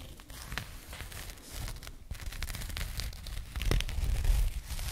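Long nails scratch across a small, soft, hollow burlap jute pouch, making a dry, crinkly, scratchy rustle with quick, uneven strokes. The scratching carries a heavy low rumble under bright fibrous crackles and grows slightly louder toward the end.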